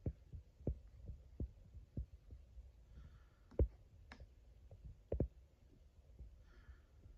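A fingertip and nail tap and rub the plastic label of a 1 L Frooti mango drink PET bottle that lies on its side and looks full. Soft, dull, low thumps come at an uneven pace, with a few sharper clicks from the nail. Faint brushing rubs fill the gaps, and each tap dies away almost at once.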